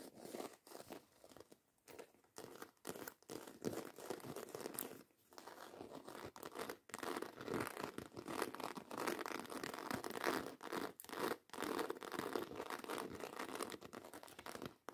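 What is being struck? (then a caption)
Small croc-embossed faux leather handbag. Long white coffin-shaped acrylic nails rapidly scratch and tap a small, hollow, soft-sided black croc-embossed faux leather handbag with a zipper, held up in the air. The result is a fast, dense, irregular stream of dry scratches and soft taps with a crinkly, tearing texture, centered in the low mids with some bright edges. Short pauses break up the quiet, continuous sound.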